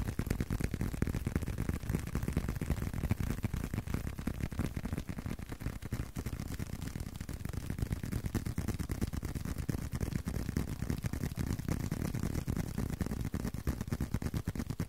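A leather card wallet is tapped in a quick, steady stream of soft, dull taps that continues throughout. The taps are low and muffled with almost no bright content, and each one dies away almost instantly, with no ring.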